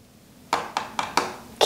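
A water-damaged bathroom wall section, where the board and edge trim are missing, is tapped gently five times, out of fear of breaking it. Each tap gives a light, hollow knock with a brief midrange ring. The wall is damaged and needs repair, with parts rusted from water, possibly iron, and wood rotting where it touched water.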